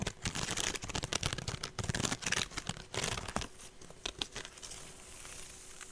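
Fingernails scratch along the side of a woven straw handbag with a rope strap, held sideways. Dense, bright, crackly rasps and quick scrapes come in bursts through the first four seconds or so, then ease into a softer, steady scratchy hiss.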